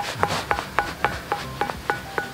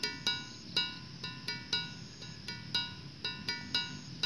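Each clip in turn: First: Eight evenly spaced strikes on a stone give clear pitched tones near 800 Hz, ringing only briefly. Second: About a dozen bright, bell-like strikes on a dry andesite stone, each ringing with clear musical partials.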